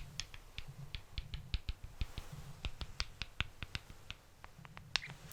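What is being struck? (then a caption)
Wooden balls. Wooden balls are tapped and rubbed against each other, moving from the back to the front of the microphone in stereo. Many short, dry, bright clicks ring out over a low rumble, each dying away almost instantly.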